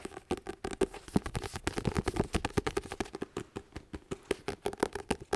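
A medium paperback book, "Do Less," with a paper cover, held solid in both hands, has its cover tapped and scratched with fingertips and nails. A quick, uneven run of dry, dull taps and short scratchy strokes follows, each one cut off almost at once, with a low papery body and little bright edge.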